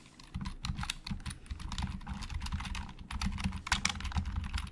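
Fingertips type steadily on a hollow black plastic Logitech keyboard for about five seconds. The result is a fast stream of short, dry key clicks with bright clatter on top and a low, hollow thump beneath each keystroke. The keys give very little ring.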